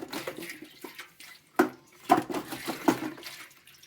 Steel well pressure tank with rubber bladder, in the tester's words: Hear that water sloshing around? That's the bladder's going bad in this pressure tank.